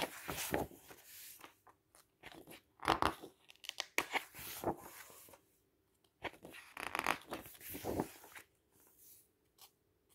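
A hand turns the pages of a large, thick printed paper brochure with red-edged pages of solid stacked paper, lying flat on a table, and rubs or slides its fingertips across the page surface. Crisp, bright rustles and crinkly swishes come in short bursts, separated by near-silent pauses.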